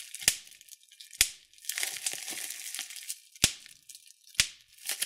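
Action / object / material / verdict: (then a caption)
strike / plastic bubble wrap / plastic / none. Thumbnails and fingertips pinch and pop single bubbles on clear plastic bubble wrap. Four sharp, bright pops stand out, with quieter crinkling and rustling of the plastic between them. The sound is thin and high with almost no low end.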